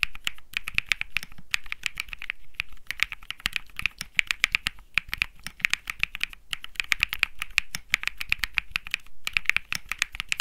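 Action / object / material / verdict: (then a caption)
tap / mechanical keyboard with plastic keycaps / plastic / none. Fingertips type continuously on a 65% Think 6.5 mechanical keyboard with Bsun Lollipop switches and plastic keycaps, set in a metal-looking case resting on felt. The result is a rapid, steady stream of short, crisp clacks centered around 2.3 kHz with bright edges, dying out almost instantly, with a few brief pauses between bursts.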